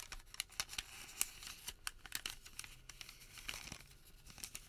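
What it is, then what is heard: Thermal paper receipt crinkling. A printed white thermal paper receipt is unfolded, flexed and folded by fingers, making quiet, bright crinkling and crackling. Sharp, short crackles come in an irregular stream over a soft papery rustle, with almost no low end.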